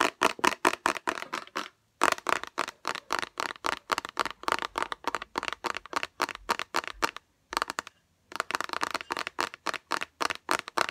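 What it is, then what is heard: Small plastic bottle with liquid, tapped and scratched with nails. Long nails and fingertips rapidly tap and scratch a small transparent orange plastic bottle with liquid inside, making dozens of crisp, hollow, clicky taps with a bright edge. The taps come in fast bursts separated by two brief silent pauses, each tap dying away almost instantly.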